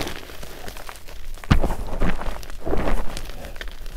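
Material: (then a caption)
Magnesium carbonate. Fingertips of both hands press and knead a large mound of fine white powdered magnesium carbonate gym chalk in a glass bowl. The result is soft, muffled crunching and dull low thuds, with louder squeezes near the middle and toward the end.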